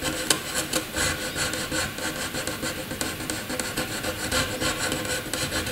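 A graphite pencil scratches angular scribbles across a sheet of white paper. The result is a steady, bright, dry rasping of quick, irregular strokes with faint low rumble underneath, staying soft throughout.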